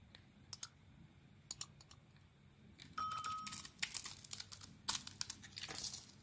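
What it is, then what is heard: Bar of soap being carved. A solid, hand-sized white rectangular bar of Nature Box soap with red lettering, held in one hand, is shaved and carved with a utility knife blade. A few soft, isolated scrapes in the first half give way to dense, bright, crackling scraping and crumbling as the blade cuts into the soap, with a brief faint ringing tone near the midpoint.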